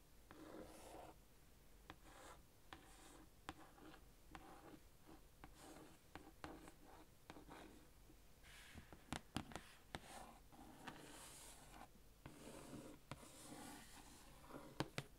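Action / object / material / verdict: scrape / plastic-wrapped cardboard box / cardboard, plastic film / none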